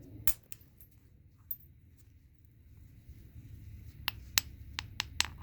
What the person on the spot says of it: i don't hear any tone with this large piece